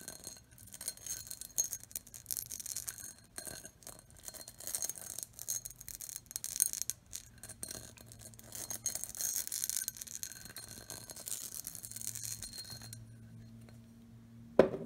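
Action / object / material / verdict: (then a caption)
tap / pressed glass bowl / glass / none. Long nails tap and scratch the patterned side and rim of an empty, hollow, clear pressed-glass bowl. The result is a steady stream of quick, bright clicks and scratchy rasps with brief glassy rings. The scratching thins out near the end before one sharp, louder tap.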